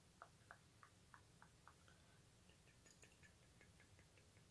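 A solid, hand-sized silver metal bat pendant on a metal chain is handled and moved with the fingertips, so the chain and pendant click together. Seven sharp, bright clicks come evenly spaced at first, followed by a quicker run of lighter, jangling clicks over a low background hum.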